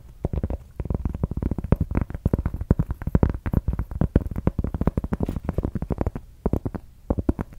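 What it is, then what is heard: Cork coaster. A large, round, flat solid cork coaster is scratched and tapped with long acrylic nails, giving a rapid, uneven series of short, dull, low thuds. Each tap dies away almost instantly, with faint scratching between them.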